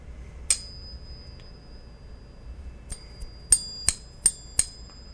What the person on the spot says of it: you can either slap the coin hear the resonance